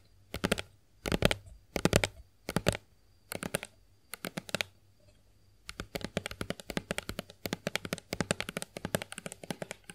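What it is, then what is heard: Plastic lotion bottle tapped with nails. A hollow plastic Johnson's body lotion bottle, held in both hands, is tapped with long acrylic nails. Short, sharp clicking taps come in quick clusters with brief pauses, then settle into a steadier, denser run of rapid taps in the second half. Each tap is crisp and dry, with almost no ring.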